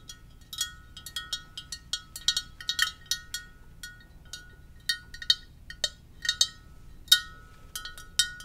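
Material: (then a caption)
Ceramic. Long purple nails tap the side of a hollow white ceramic mug with script lettering, held tilted. About two dozen quick, bright clinks with a high ringing tone decay almost instantly, separated by short irregular pauses over a faint low hum.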